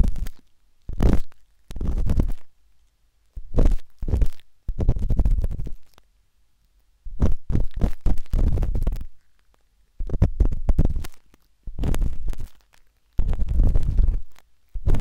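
The metal tip of a wooden-handled dot stick scratches inside the ear canal of a pale pink, soft and solid silicone ear on a binaural microphone. The sound comes in short bursts of deep, muffled, crackly rubbing separated by brief silences, with almost all of its energy low and little brightness.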